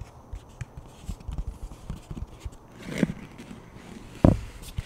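Fingertips tap and rub the face and rim of a thin plastic flying disc with a black stripe, making soft, dull low taps and faint scratchy rubbing. A rising brush of friction leads into a sharper tap near the middle, and the loudest tap comes near the end, each dying away almost instantly.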